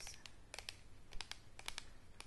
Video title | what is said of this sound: #118 Beauty product packages #4! Tapping, scratching, lids, soft spoken *ASMR* | you can really hear that it's hollow inside